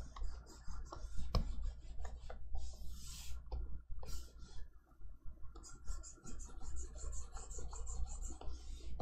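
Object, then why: Plastic stylus on a matte plastic tablet screen. A plastic stylus held in the fingers is dragged in short drawing strokes across the matte screen of a large XP-Pen Artist 15.6 Pro pen display, a flat electronic tablet. Soft, dry scratching and rubbing strokes come in irregular bursts, some with a bright, hissy edge, over a steady low hum.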